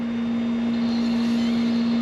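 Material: Nothing is struck.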